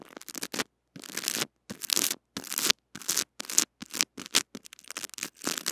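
A small white brush with stiff bristles scratches the head of a small metal-mesh mini microphone wrapped in clear cling film and held in the fingers. Bright, crackly scratching and crinkling comes in quick bursts separated by brief silences, with almost no low end.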